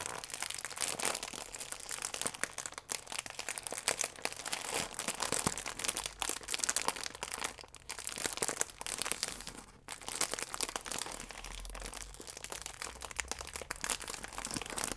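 A plastic film croissant wrapper is scrunched in the hands, then straightened out and squeezed with the fingertips. It gives a steady stream of dense, bright crinkles and sharp crackles with almost no low end, pausing briefly around 3, 8 and 10 seconds before carrying on.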